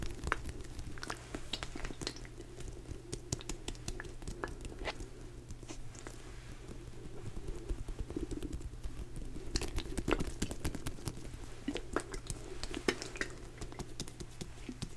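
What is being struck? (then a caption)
Rubber hot water bottle. Fingertips tap and scratch the textured surface of a purple rubber hot water bottle. A dense, uneven patter of soft, dry taps and brief scratchy bursts carries on throughout, with a few brighter clicks. A steady low hum runs underneath.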